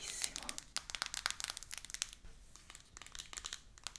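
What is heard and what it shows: Long acrylic nails tap and scratch a small, rigid, shrink-wrapped cardboard box for an iPhone 14 Pro 256GB, lying flat with the phone still inside. Quick, bright clicks and crinkly plastic scratches come in a dense, uneven run. Each tap is sharp and dies away at once, with almost no low end.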